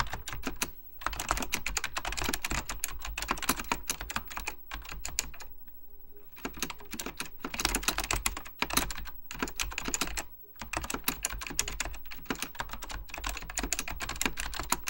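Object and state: Plastic mechanical computer keyboard.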